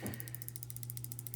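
A metal CRKT LCK folding pocket knife is shaken close to a microphone, producing about 13 rapid, light metallic jingles over a steady low hum. The rattle comes from the knife being loose, with blade play, which makes it feel cheap.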